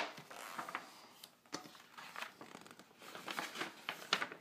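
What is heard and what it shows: Fingertips rub and scratch across a large glossy printed fold-out page of a thin paper car magazine lying flat on a table. The sound is a soft, dry papery scraping with crisp, bright little ticks and brushing strokes that rise and fall in short bursts, with almost no low end.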